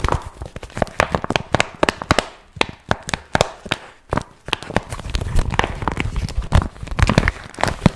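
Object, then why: Vinyl zip pouch. A flat, glossy pink vinyl pouch with a zipper is held in both hands while fingertips tap, scratch and crinkle it. Quick, sharp taps and crackly snaps die away almost instantly, with deep thumpy body and bright edges. They turn into denser, continuous crinkling in the second half.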